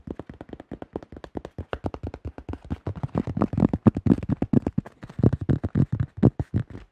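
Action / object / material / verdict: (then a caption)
tap / plastic disc golf disc / plastic / none. Fast fingertips tap across the top and rim of a thin-shelled yellow plastic disc golf disc, making a quick, irregular run of short, hollow, low-pitched knocks. Each knock dies away almost at once, and the taps bunch into dense flurries in the middle of the clip.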